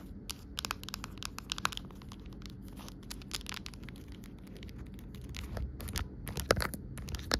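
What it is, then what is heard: Clear plastic phone case. Long nails tap and scratch along the back and raised edge of an empty, amber-tinted clear plastic phone case. Crisp, bright clicks and dry scratching rasps come in quick irregular bursts over a steady low background rumble. The tapping grows busier and louder toward the end.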